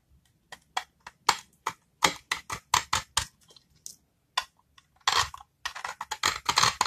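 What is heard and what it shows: A small, solid, rectangular bar of very dry brown soap is held in the hand and scraped with a utility-knife metal blade, shaving off crunchy flakes. A series of short, crisp, bright crunches sounds with no ring, first spaced apart and then coming faster and denser toward the end.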